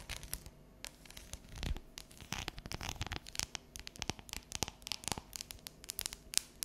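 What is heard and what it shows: Long neon nails tap and scratch across the ridged squares of an unwrapped, solid bar of dark chocolate lying on a counter. Many quick, dry clicks and bright scraping strokes follow one another in an irregular, busy stream, each dying away at once.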